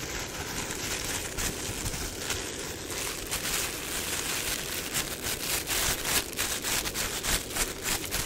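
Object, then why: Thin plastic bin bag. A thin, flexible, empty black plastic bin bag is held in both hands and crinkled and rubbed with the fingertips. It makes a steady, bright crinkling rustle with a hissy, rain-like texture, and sharper crackles grow busier toward the end.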